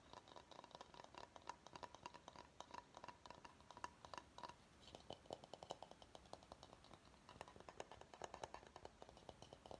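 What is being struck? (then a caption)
Empty bamboo salad bowl. Fingernails tap and scratch quickly across the outer surface of a medium, empty, hollow bamboo salad bowl held tilted upside down. The quiet, dry clicks come in a dense, uneven stream with a light hollow tone near 1 kHz, mixed with soft scratching and bright edges. Each tap dies away almost instantly.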